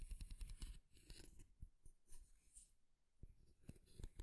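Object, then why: Wooden comb. A light wooden comb with fine teeth is held in one hand while fingernails run along its teeth and scratch and tap its flat wooden back. Quick, irregular bursts of dry scratching and clicking mix with soft, dull taps, all at a quiet level.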